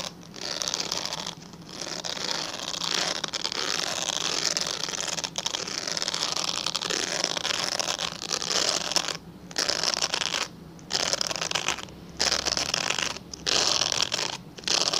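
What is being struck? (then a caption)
Glycerin soap bar. Fingernails scratch the surface of a translucent pale yellow glycerin soap bar held in both hands. The result is a dense, bright, dry scratching with a faint crackle, running in long bursts broken by a few short pauses.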